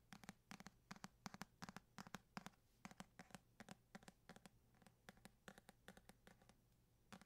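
Fingertips and short nails tap and scratch the paper cover of a medium paperback copy of *East of Eden*, a solid stack of pages held close to the microphone. About 38 quick, irregular taps land over seven seconds, each a dull, hollow thud with a crisp, papery tick on top. Faint scratching fills the gaps between them.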